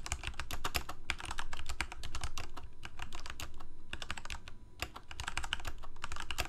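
Fingertips of both hands type rapidly on a full-size black plastic Corsair mechanical keyboard with lit keycaps. A dense, steady stream of sharp, bright key clicks rides over a low, hollow thock. Each press cuts off almost at once, with a brief lull just before the typing picks up again near the end.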